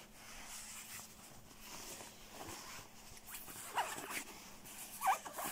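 Fingertips quickly scratch and grip the shell of a black quilted nylon down puffer jacket lying on blue bedding, making a steady, crinkly, high-pitched swishing rustle. A few sharper, louder scrapes stand out near the end, along with a faint low hum underneath.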